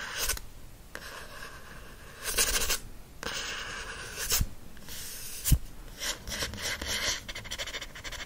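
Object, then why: Paperback book with glossy card cover. Fingernails scratch and rub across the glossy card back cover of a teal paperback book, including the barcode area. Bright, dry scratching comes in uneven bursts, with a few sharper ticks in between.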